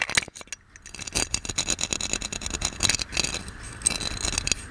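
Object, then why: Ornate metal lamp. A gold metal genie lamp is held in one hand while a fingernail of the other hand scratches and taps its ornate body. Quick, bright metallic taps and thin scraping sounds come in irregular bursts, each tap cut off almost instantly with no ringing.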